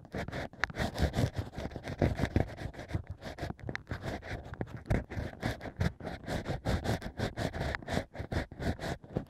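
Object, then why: Stack of drilled natural corks scraped inside by a bamboo pick. Bamboo ear picks scratch inside the holes of a stack of drilled natural wine corks. The result is a steady run of close, dry scratching and scraping strokes that come in quick, uneven bursts. The sound is dull and heavy in the lows, with a little high rasp.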